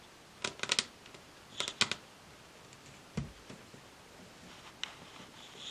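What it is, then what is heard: Varnished wooden table tapped with nails. Long acrylic nails rapidly tap a solid, glossy varnished wooden tabletop with both hands. Sharp, bright clicks come in quick clusters with almost no ring, followed by a duller knock and a few scattered lighter taps over a quiet background.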